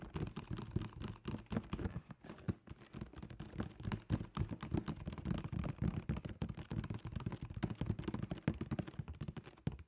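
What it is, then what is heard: Cardboard shoe box, hollow. Fingertips and nails tap and scratch the flat face of a large black printed cardboard sneaker box held upright and hollow. The sound is a steady run of quick, dull, low thumps mixed with soft scratching, each tap dying away almost at once, with very little bright content.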